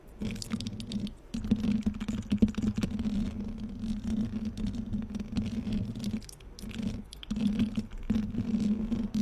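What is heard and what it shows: Long painted fingernails scratch across a hollow black metal mesh microphone grille, producing a dense, rapid patter of soft scratchy ticks over a steady low hum. The scratching runs in bursts, with brief pauses near 1, 6, 7 and 8 seconds, and each tick dies away almost instantly.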